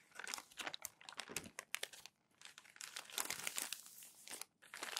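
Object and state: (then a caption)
Newspaper crumpled and smoothed. Newsprint newspaper sheets are crumpled and smoothed down by palms on a desk, making dense, bright crinkling and rubbing with sharp crackles. The sound comes in busy bursts with short quiet gaps near two seconds and again near four and a half seconds.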